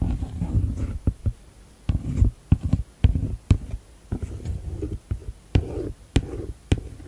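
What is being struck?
Plastic first aid kit case.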